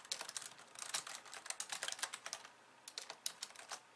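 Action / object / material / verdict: tap / plastic computer keyboard / plastic / none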